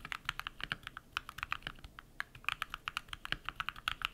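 Bare fingertips type rapidly on a compact modded mechanical keyboard with lubed switches and white PBT plastic keycaps. About thirty quick, distinct keystrokes sound as crisp, bright clacks with very little low end. Each one dies away almost instantly.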